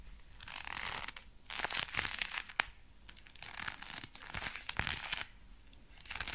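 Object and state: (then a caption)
Leather gloves creaking. Dark brown leather gloves are worn on both hands while the fists are squeezed and the fingers flexed and rubbed together. The leather creaks and crinkles in bright, crackly bursts with sharp snaps between them, then briefly falls quiet before the squeezing starts again.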